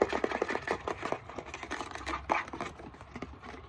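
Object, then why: Plastic bottle of rubbing alcohol. Fingernails tap quickly on the front and base of a hollow, partly full Equate 70% isopropyl alcohol plastic bottle. A rapid run of light, hollow plastic clicks follows, each with a short low-mid tone and almost no ring.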